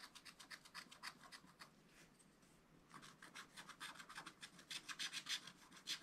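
A wooden stylus held in the fingers scratches the coating off a scratch-art card page in a spiral book, working around a zebra figure. Quick, uneven scratching strokes sound bright and dry with almost no low end, and they soften briefly in the middle before picking up again at a faster, louder pace.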